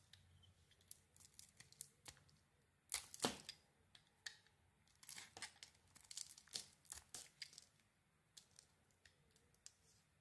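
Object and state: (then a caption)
Bar soap being scraped. A metal utility blade scrapes and peels the purple and silver striped coating off a hand-sized solid bar of soap with a cream interior, held in hands with green nails. Quiet, bright scraping and crisp tearing, crinkling strokes come in short bursts, with the longest and loudest peel near the third second. Each stroke stops abruptly, with little low end.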